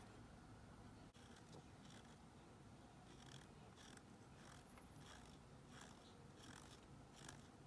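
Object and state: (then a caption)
Bar of soap. A thin pink stick scrapes along the edge of a solid, palm-sized white Dial bar soap held in a blue-gloved hand, and the bar is rotated as it goes. The sound is a quiet run of soft, dry, bright scratching strokes over a steady low hum. The attempt is a failure.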